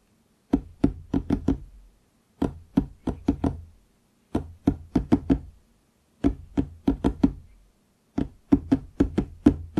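Fingertips knock on the surface of a large, solid wooden desk near its bottom edge, with a microphone nearby that is not touched. About 27 short, dull knocks come in five quick bursts separated by brief pauses. Each knock gives a low, woody thud that dies away almost at once.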